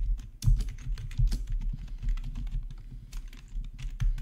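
Fingertips of both hands type on a full-size black plastic backlit RGB gaming keyboard resting on a marble surface, with one hand reaching to the green numpad area. A steady run of quick, soft clacks with dull, low-weighted thumps follows, each keystroke dying away almost at once.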